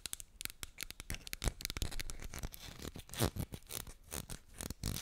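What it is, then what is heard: Cardboard medicine box tapped with fingernails. Long nails tap and scratch the surface of a small, empty-looking blue and white cardboard medicine box held close to the mic. Quiet, rapid, irregular clicks and dry scratchy rasps come in quick bursts, with bright crisp edges over a soft low thump.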